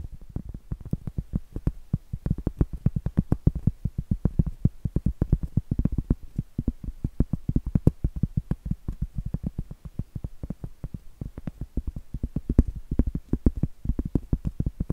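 Long acrylic nails rapidly tap and scratch the flat face of a round, solid cork trivet held facing the camera. A steady stream of soft, dull, low thuds sounds with almost no ring and very little bright content, with faint scratchy brushing between the taps.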